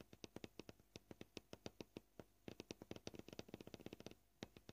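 Fingernails of both hands tap rapidly on a solid white plastic cutting board, giving about thirty short, dry clicks with a low-mid body and bright tops that die away almost instantly. The taps come at an uneven pace: a steady run, a brief pause, then a quicker, denser flurry that stops before a few final taps.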